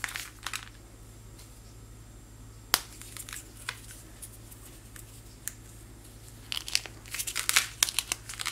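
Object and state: Chalky powder block crumbling.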